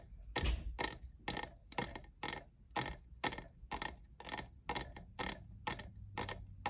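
Fingernails tap the sides of a hollow, lavender, diamond-textured plastic cold cup, producing crisp, bright clicks that die away almost instantly. The taps come at an uneven, unhurried pace over a faint low hum.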